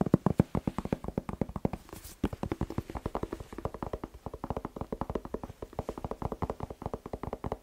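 A whole, hollow red bell pepper with a green stem is held in one hand and tapped rapidly with the fingertips of the other, giving about 65 quick, dry, hollow thuds. The taps are low and muffled, centered near 180 Hz, with no ring after each one. There is a brief pause with a soft rustle near the two-second mark before the steady tapping resumes.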